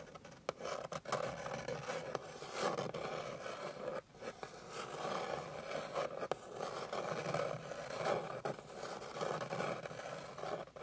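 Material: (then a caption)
Wood. Long pink fingernails scratch quickly across a flat, light, solid wooden board. The result is a steady, dry scraping rasp centered in the midrange, with brief dips and small bursts as the strokes change, and no talking.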